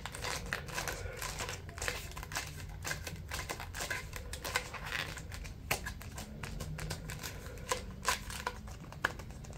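A white, folded, pleated paper stack is held in one hand while fingertips flick and tap the pleat edges. The result is a rapid run of crisp, crinkly clicks with bright, dry snaps over a steady low rumble.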